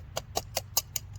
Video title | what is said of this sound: Szco WWII W3 Trench Knife review | a little loosening in the guard